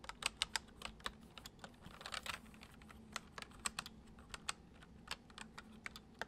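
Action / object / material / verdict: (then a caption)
tap / plastic computer keyboard / plastic / none. Fingertips of both hands type on a full-size white plastic computer keyboard with hollow keys resting on a wooden desk, the left hand on the letter keys and the right moving to the number pad. About 24 short, bright, hollow clicks sound at an uneven pace, with a denser flurry just past two seconds. A faint low hum sits underneath.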